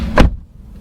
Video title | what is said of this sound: 2022 Honda HR-V S (Base) – The Base Variant is a Decent Crossover! - CAR REVIEW #102 | that sounds solid the door is heavy